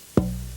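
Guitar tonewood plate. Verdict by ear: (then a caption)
Resonant. A single tap on a guitar tonewood plate gives a quick knock followed by a low, clear tone that keeps ringing softly with steady low overtones. The tap tests the wood's lowest fundamental, how long it rings, and whether it sounds one clear note or dissonant ones. The piece is judged great, with a lot of life.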